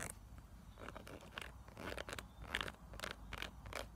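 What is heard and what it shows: Long acrylic nails scratch and tap across a small, flat, pink silicone makeup brush cleaning pad with textured ridges and bumps, held in the hand. The result is a quiet, steady run of short, dry, scratchy rasps and soft taps, each one brief and with no ring.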